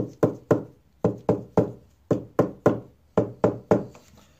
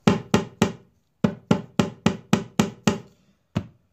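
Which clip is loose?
The second.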